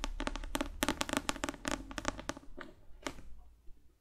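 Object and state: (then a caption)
Paperback book tapped with fingernails. A thick paperback novel with a glossy cover, held in both hands, is tapped rapidly with long fake nails. The result is a quick, irregular run of dry, crisp clicks with a hollow low-mid body and bright edges, each one dying out almost instantly, until the taps thin out and fade near the end.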